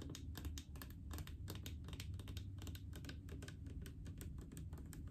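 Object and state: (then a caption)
Plastic mouthwash bottle. Long acrylic nails tap rapidly and steadily on a large blue plastic mouthwash bottle full of liquid. Crisp, bright clicks sit over a dull, low hollow thump, and each tap dies away quickly for a soft, continuous tapping texture.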